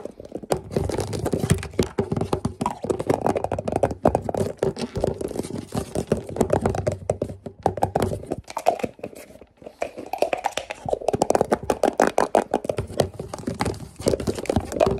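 Fingertips and nails rapidly tap and scratch the blue plastic lid and sides of a medium-sized, hollow white plastic tub with a label. The result is a dense, chaotic stream of short, dry, hollow clicks and scratchy rasps with a mid-range body and almost no ring. The activity dips briefly around the middle before picking up again.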